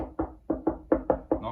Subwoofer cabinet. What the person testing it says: it's a bit thinner than on the 15. Not by much.